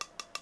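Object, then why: Small metal tin. An Altoids metal mint tin is tapped three times, giving three short, bright metallic clicks with a faint ringing tone near 1.2 kHz that dies away almost at once. The tapping shows that the tin's sound is a physical property of the metal, and it does not change the tin's composition.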